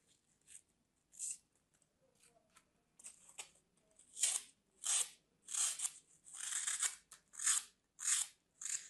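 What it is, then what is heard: Floral foam block being cut. A small solid bar of dry green floral foam, held in the hand, is sliced into small cubes with a metal craft blade. A series of crisp, crunchy cuts and scrapes comes in uneven bursts, each bright and hissy with almost no low end and a very short decay. The cuts grow louder and more frequent toward the end.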